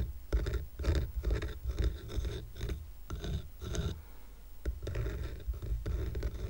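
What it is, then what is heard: Stack of wooden coasters. Fingernails rapidly tap and scratch the top of a stack of square painted wooden coasters tied with twine, then the stack is tilted to show its edges. The result is a run of quick, dry, irregular scratching bursts with a dull low thump underneath and a faint bright rasp, each dying away almost at once.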